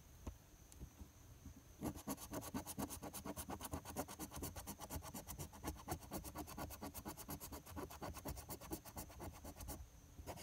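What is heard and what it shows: The edge of a metal coin held in the fingers scratches the silver latex coating off a thin, flat paper NY Lottery $2 "WIN" scratch-off ticket lying on a patterned surface. After a quiet start, a fast run of short, dry, bright scraping strokes, about two per second, continues steadily for roughly eight seconds before stopping just before the end.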